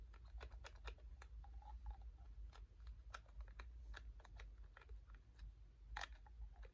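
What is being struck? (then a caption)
Small glass dropper bottle. Medium-length natural fingernails tap a small, hollow green glass dropper bottle of facial tree oil with a white label and dropper cap, held close. The result is a quick, irregular series of short, bright clicks with a faint glassy tone around 800 Hz that fades almost instantly, over a steady low hum.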